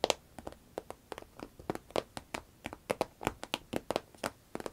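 Long red nails tap, scratch and squeeze a small, hollow, cylindrical green vinyl zip pencil case that appears empty. About 21 quick, dry taps sound in an uneven patter, each with a hollow mid-pitched knock around 540 Hz and a bright crinkly edge. Every tap dies away almost instantly.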